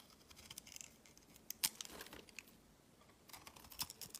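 A metal utility blade slices and scrapes thick shavings from the white exposed face of a solid oval soap bar. Quiet, crisp, bright scraping and cutting sounds come in short bursts, with a sharper slice around the middle and another cluster near the end.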